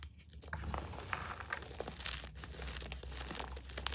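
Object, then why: Crushed gym chalk chunks and powder. Both hands press down and squeeze crumbly crushed green and white gym chalk in a bowl of small chunks and powder. The result is a dense, bright crinkling crunch with short crackles throughout, over a steady low hum.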